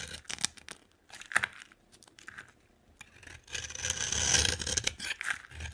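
A utility knife scrapes and carves a dry orange bar of soap with a blue outer layer, shaving off crumbly pieces. Quick, bright, papery scrapes and crackles come in irregular bursts, then build into a longer, denser scraping pass in the second half before trailing off into shorter strokes.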